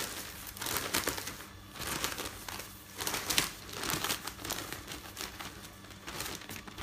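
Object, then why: Folded newsprint newspaper. Hands flip, riffle and fold the pages of a folded newsprint newspaper. The result is bursts of dry, bright crinkling and rustling paper that swell and fade in waves over a few seconds, with little low end.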